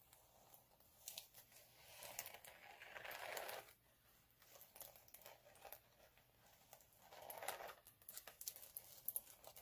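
Both hands scratch and rub the rough surface of a flat, multicolour chunky glitter sheet (glitter cardstock or vinyl) lying on a dark cloth, using short nails and fingertips. Quiet, dry, bright scratching and crinkling comes in irregular bursts of quick scrapes with longer rubbing swells, with almost no low end.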